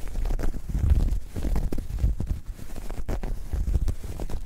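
Long nails scratch and squeeze a soft, hollow, dark grey ribbed knit fabric bag. The result is a deep, muffled rumbling scrape, nearly all low-frequency, with a steady rough texture broken by brief louder bursts and faint bright ticks.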